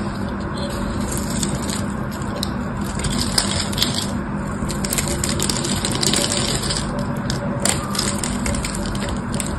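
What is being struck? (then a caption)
Bar of soap scraped by a metal blade. A metal blade scrapes and carves into a solid, palm-sized blue bar of soap held in one hand, shaving off flakes. The sound is a steady, gritty scraping full of bright, crackly ticks and small crunches over a low, constant rumble.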